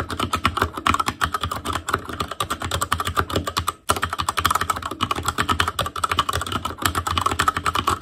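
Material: Plastic.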